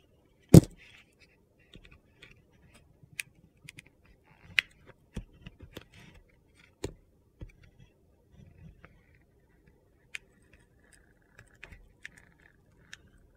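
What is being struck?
Soap bar with a crunchy sugar-glitter crust.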